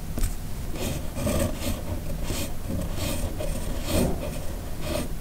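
A red plastic fountain pen with a steel nib, held in the fingers, writes cursive on a flat white paper sheet resting on a hard surface, so the nib scratches across the paper. Repeated short, bright rasping strokes rise and fall over a steady low hum and stay at an even, quiet level throughout.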